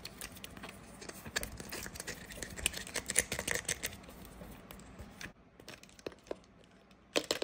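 A medium-sized, hollow white Plum Silky plastic pump spray bottle, likely holding liquid, is tapped and scratched with long nails on its body and nozzle. Quick, bright clicks and crackly scratching come in dense bursts, with a quieter stretch before a final loud flurry of taps.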